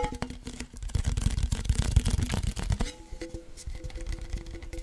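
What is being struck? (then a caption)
Cardboard chip can. A hollow cardboard Pringles chip can is tapped along its side with fingertips, then held upright over the mic and tapped. Quick, uneven taps give deep, hollow thuds. The tapping grows softer in the last part, where a faint steady low hum sits underneath.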